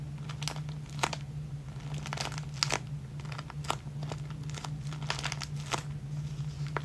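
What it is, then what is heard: Plastic zip bag of clear elastic hair ties. Fingertips press and rub across a flat, clear plastic zip-lock bag full of clear elastic hair bands. Bright plastic crinkles and crackles come in quick, irregular bursts over a steady low hum.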